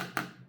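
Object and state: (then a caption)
Solid smartphone glass back. A single tap on the glass back of an iPhone 15 gives a short, dense knock with a clear tone around 1.4 kHz that dies away within about a tenth of a second. The solid sound indicates the phone is built properly.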